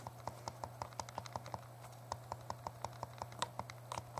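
A small, hollow, translucent purple plastic Game Boy Color is held in both hands while thumbs press and click its plastic buttons. About 26 short, crisp clicks come in an uneven rhythm, each with a pitched tick near 1 kHz and a quick, dry decay. A steady low hum sits underneath.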